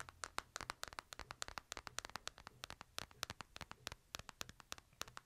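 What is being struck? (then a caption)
Smartphone in a plastic case. Fingers tap and scratch the screen and case edges of a smartphone in a light plastic case held in the hand. The result is a rapid, quiet run of dozens of dry, bright clicks with no ring, over soft scratching and a faint low hum.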